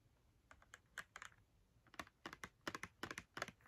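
Long red nails tap quickly on the front face of a small, hollow Crayola cardboard box filled with markers, held in one hand. The result is a fast run of about fifteen dry, crisp clicks with a papery, hollow tone. The clicks cluster in uneven bursts and die away almost instantly.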